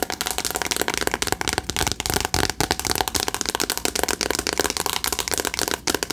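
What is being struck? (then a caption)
Cardboard eyeshadow palette. A flat rectangular cardboard "Remember Me" eyeshadow palette, held in both hands, is tapped quickly with long acrylic nails. The result is a dense, steady stream of dry, crisp clicks, bright and short with almost no ring, and possibly faint whispering underneath.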